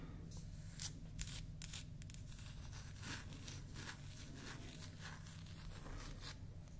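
A small, solid, round mint-painted wooden toy makeup compact with a natural wood cube knob is held in the hand and scratched and tapped with long manicured nails. Short, bright scratching and clicking bursts come over a steady low hum, with the sharpest taps near the start.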